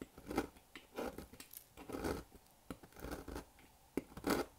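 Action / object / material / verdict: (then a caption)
scrape / bar of soap cut with a blade / soap / none. A solid square black bar of dry soap, held in the fingers over a table, is sliced with a thin blade into long, brittle shards. Each stroke gives a short, dry, crunchy scraping burst centered in the low-mids, with quiet pauses between cuts.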